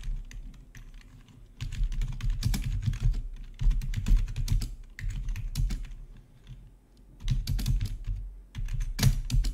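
Fingertips type on the keys of a full-size black plastic backlit RGB membrane gaming keyboard with a hollow body. Bursts of quick, irregular taps come in waves with brief quieter pauses between them. Each keystroke gives a short, dull thock with a deep low body and a faint bright click on top.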